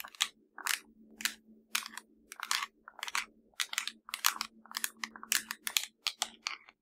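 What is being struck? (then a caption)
Plastic remote control. Long nails tap and scratch the buttons of a hollow black plastic LG TV remote, making quick bright clicky bursts and crunchy scratches. The bursts come in an irregular rhythm over a faint steady low hum.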